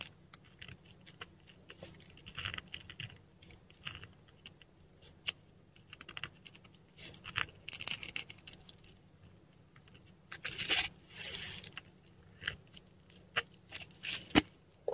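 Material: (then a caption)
Paper. A metal dip pen nib scratches short strokes on a textured Korean paper sheet while writing Persian/Pashto script. Quiet, bright, dry scratches and tiny ticks follow one another irregularly, with a longer, louder scrape near the middle of the clip. A faint low hum runs underneath throughout.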